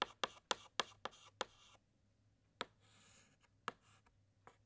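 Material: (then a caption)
Chalk. A white chalk stick makes short, repeated hatching strokes inside a letter S on a large, flat, black chalkboard. A quick run of six sharp, bright scratches is followed by a pause, then a few more spaced-out strokes. Each stroke stops almost instantly, with a faint, dry rasp trailing between some of them.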